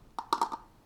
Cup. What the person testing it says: I can barely hear that